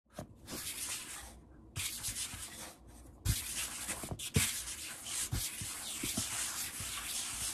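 Bare fingertips and palms rub and tap fast on a large solid wood-grain table surface, possibly wood laminate. Bright, hissy rubbing runs in bursts with brief quiet gaps, broken by several sharp, low-thudding taps that die away quickly.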